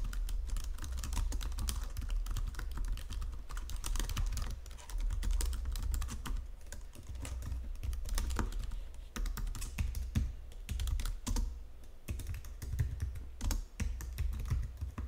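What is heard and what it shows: Fingertips with long nails type steadily on the main keys and number pad of a white plastic Logitech full-size keyboard under green lighting. The result is a dense run of short, crisp plastic clicks and taps over a steady low hum around 62 Hz.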